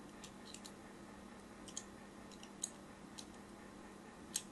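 A thin blade lightly scores lines across the surface of a solid pink-and-white striped bar of soap held in the hands. Short, bright, dry scratchy ticks come at irregular intervals over a quiet, steady low hum, with a few sharper, louder clicks standing out. Each one dies away almost instantly.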